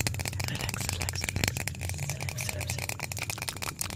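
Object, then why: Small plastic bottle with a cap. A small white plastic bottle with a cap is held up and shaken by hand, producing a dense, steady rattle of quick bright clicks over a low, humming rumble. The rattling continues evenly for the whole clip without fading.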